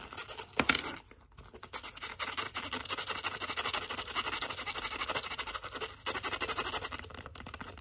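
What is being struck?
Leather zip wallet with metal zipper.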